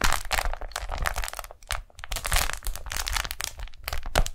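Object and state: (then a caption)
Beeswax-coated cotton food wrap. Fingers peel the stuck folds of a pink daisy-print beeswax-coated cotton food wrap apart and stretch it open flat. Dense bursts of sticky crackling and crinkling fill the clip, with bright, crisp edges over low handling thumps. There is a brief lull in the middle before the crackling picks up again.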